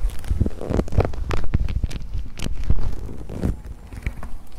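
A soft, thin, hollow brown leather jacket sleeve is folded and rubbed between fingers and scratched with long nails close to the microphone. The result is a dense run of low, muffled rubbing thumps and creaks, with brief brighter scratchy streaks scattered through.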